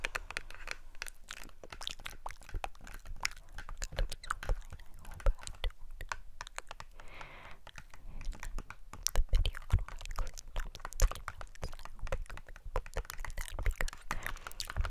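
A small, hollow, rectangular red and white printed cardboard cosmetic box is held in both hands in front of the mic and tapped quickly with long acrylic nails. The result is a steady stream of rapid, dry, clicky taps with short, crisp attacks and almost no ring, heavy in low thud and occasionally peaking louder.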